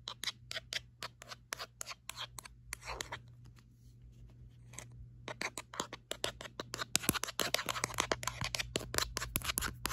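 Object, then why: Phone in a rubberised plastic case. Long acrylic nails rapidly tap and scratch the back of a smartphone held in one hand, inside an orange-red textured rubberised plastic grip case with a hollow shell. Dense, dry, bright clicks and scratchy rasps run over a steady low hum, with a quieter scratching stretch near the middle before the tapping builds again, louder and faster toward the end.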